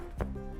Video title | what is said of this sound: 🍞3 Ingredient Lazy Loaf🍞 | it sounds nice and hollow inside, which means it's ready